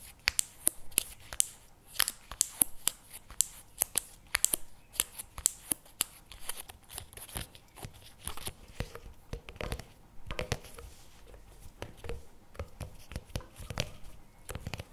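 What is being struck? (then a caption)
Paperboard tub with plastic lid. Fingernails tap and scratch the plastic lid and paper label of a CremaNovi paperboard chocolate spread tub held on a table. Quick, dry, bright clicks with no ring come first, then give way to softer, scratchy rustling and lighter taps.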